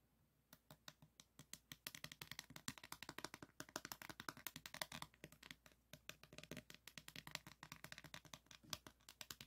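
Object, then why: Diamond painting board covered in plastic resin drills. Fingernails tap and scratch across a small framed diamond painting board covered in plastic resin drills, held up close. The result is a quiet, rapid, uneven run of short, bright clicks with a faint scratchy rattle between them, each tick dying away almost instantly.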